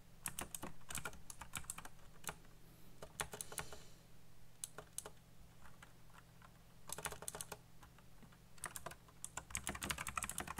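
Fingertips type quickly on a backlit mechanical keyboard with black plastic keycaps, producing bursts of sharp, bright clicking keystrokes separated by short pauses. A steady low hum sits beneath the clacking throughout.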